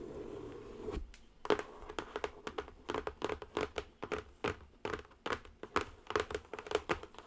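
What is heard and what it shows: Long nails tap the top edge and sides of a square cardboard zen garden box. A soft, dull rustle gives way to a quick, uneven run of crisp, dry taps, each dying away almost instantly, with a hollow tone around 420 Hz and a bright, papery edge.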